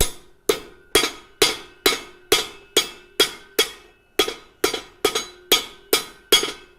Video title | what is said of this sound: LIVE: Treadle Hammer Giveaway Livestream | that's a little louder because it's on the flat so there's more resonance there but not too bad